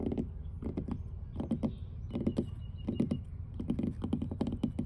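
Long blue almond-shaped nails on both hands tap and scratch the large, solid, weathered grey wooden boards of an outdoor dock. Quick clusters of dull, woody knocks with a low thud die away almost instantly, between softer scratchy strokes over a steady low rumble.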